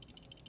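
A brand-new, never-used stainless steel Leatherman Surge multi-tool is shaken, and its tool release makes a few quick, bright clicking rattles. The release spring lacks tension, so in the closed position the release moves back and forth instead of staying locked. This is a fault that doesn't affect the tool's function but is irritating enough to warrant a warranty repair.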